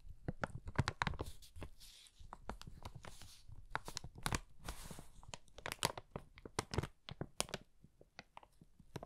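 An empty brown kraft paper bag with flat paper handles is held in both hands and crinkled and flexed with fingertips. Dense, sharp crackles and crinkles burst across the range, with brief bright hissing swells of rustling paper in between. The crackling stays quiet and close, each snap dying away almost instantly.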